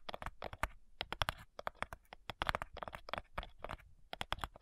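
Long nails tap quickly on the front side of a flat, light, hollow wooden cigar box, then move to tapping its lid. The taps are short, dry and clicky, with a bright edge and a faint hollow low thump, and each dies away almost at once in an irregular, keyboard-like patter.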